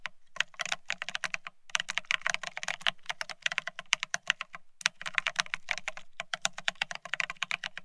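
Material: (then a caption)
Plastic. Fingertips of both hands type fast on the plastic keycaps of a full-size beige split ergonomic keyboard. The result is a rapid stream of bright, dry clicking taps, each with a soft low thud underneath and almost no ring. Brief pauses break the stream.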